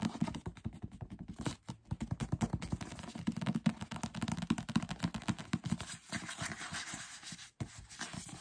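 Fingertips and short nails rapidly scratch and rub the page edges of a thick paperback novel with paper pages, then tap and scratch its glossy paper cover. The result is a dense, fast run of dry scratches and soft, dull taps, weighted toward low-mid tones. Brief quiet gaps occur near 1.7 and 7.6 seconds.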